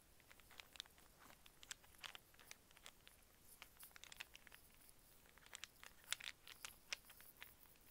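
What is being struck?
Wooden cube snake puzzle.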